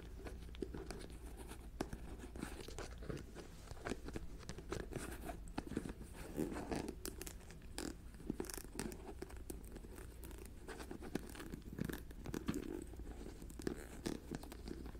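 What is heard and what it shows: Long nails tap and scratch the white plastic lid and rim of a medium jar full of pale granular contents, and twist the lid on and off. The result is a steady, quiet stream of short crisp ticks and crunchy scraping over a low background hum, with occasional sharper clicks.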